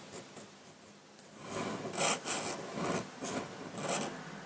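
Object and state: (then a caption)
Pen nib scratching drawing paper. A metal dip-pen nib in a wooden holder scratches ink lines across a flat sheet of white drawing paper lying on a table, heard close-up. Faint scratching in the first second and a half gives way to louder, raspy strokes with a bright, hissy edge, each rising and fading in an uneven rhythm.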